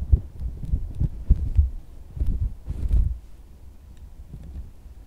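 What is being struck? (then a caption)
Silicone squishy dog toy. A pink, solid, soft silicone squishy dog toy resting on white fabric is tapped quickly with fingers and then squeezed flat in the hand. The taps are dull, muffled low thumps with almost no ring. They give way after about three seconds to a quieter, soft low rumble as the toy is pressed.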